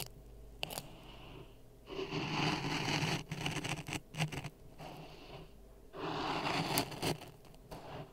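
A wooden stick scrapes through dry sand in a clear plastic cup resting on a red microphone. Gritty, hissing scrapes come in two long sustained passes, with shorter bursty strokes between them and a quiet low hum underneath.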